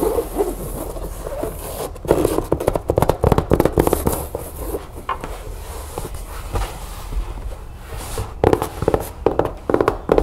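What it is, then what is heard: Fabric-covered cardboard storage bin, hollow and empty. Long nails tap and scratch the side walls and corners of a medium, hollow, empty chevron-print fabric storage bin made of fabric-covered cardboard with stiff board walls. Bursts of fast, dull, papery taps with a muted midrange thud and almost no ring come between stretches of soft, continuous scratching.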